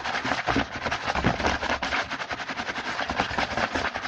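Fingertips of both hands rapidly tap and scratch the front of a small printed cardboard Hanuta snack box, first lying mostly flat on a table and then held. The result is a fast, dense stream of dry, papery taps and scratchy rustling, bright and crisp, with very little low-end weight.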